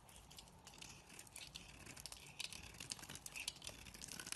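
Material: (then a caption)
Soap. A knife blade scrapes and carves a thin remaining sliver of solid beige soap held between fingers into thin pieces. The result is a quiet, dense run of bright, crinkly scraping with short clicky flicks that grow a little sharper toward the end.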